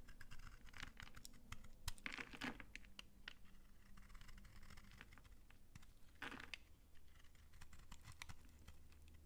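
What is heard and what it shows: A utility knife shaves crisp curls off a hand-sized, dry, solid pink soap bar held in the palm. It makes a steady run of quiet, dry scraping and crunchy ticks, with two louder, brighter scrapes near 2 and 6 seconds over a low hum.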